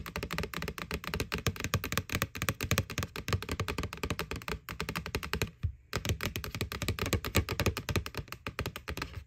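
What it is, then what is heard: Plastic Halloween bucket. Fingernails tap rapidly and steadily on the side wall of a white hollow plastic McDonald's Boo Bucket, a Halloween bucket. The taps land as dense, dry clicks over a low hollow thud, with almost no ring. They stop briefly near the middle, then resume at the same quick pace.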